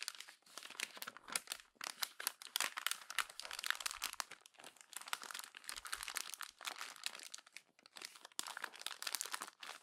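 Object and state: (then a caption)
Glossy magazine paper being crumpled. A hand crumples the thin glossy pages of an open magazine into a wad, then presses and rubs it with fingertips and long nails. Dense, bright crinkling and sharp crackles run almost continuously, with quick dry snaps that stop short and leave almost no low-end weight.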